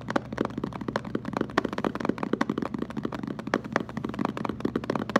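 A hollow blue plastic water jug, held with its round end facing the camera, is tapped rapidly with fingertips and short nails. The result is a quick, steady patter of short, dull, hollow knocks centred around 230 Hz, each dying away almost at once.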